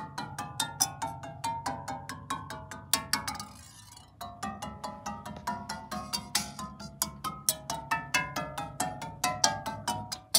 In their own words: ASMR sounds from a rubber tipped drumstick softly tapping on heater coils producing a soft gentle musical sound